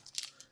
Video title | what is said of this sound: Flamecraft - Unboxing édition collector - découverte des composants | j'aime bien quand ça sonne et comme des vraies pièces